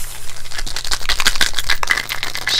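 A plastic prescription pill bottle holding doxycycline 100 mg capsules is shaken, and the capsules rattle against the walls in a rapid series of sharp, bright clicks. The shaking continues steadily over a low background hum.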